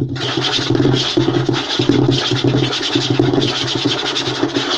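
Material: Wood.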